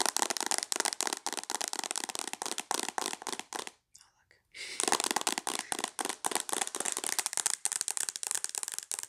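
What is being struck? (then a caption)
Tablet with glass screen in a plastic case. Long acrylic nails tap quickly on the glass screen of a tablet held in a mint plastic case, making a dense run of sharp, bright clicks. The tapping stops briefly near the middle, with only faint soft sounds, then resumes at the same fast pace.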